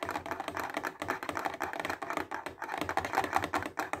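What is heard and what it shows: A clear plastic case full of highlighters is tapped quickly with fingertips and nails. The result is a fast, continuous patter of short, dry plastic clicks centred in the mid-range around 780 Hz, with little low end and quick decay.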